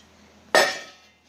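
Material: Steel.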